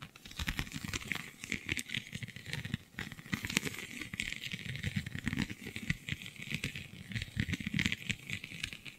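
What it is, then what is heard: Textured vinyl sheet scratched and tapped. Long glittery nails scratch and tap across the raised scale-like bumps of a flexible, iridescent holographic vinyl sheet. The result is a steady, dense stream of crinkly, rattling scratches and quick taps for about nine seconds. Bright, high hiss sits over soft low thumps, and each tick is short and dry.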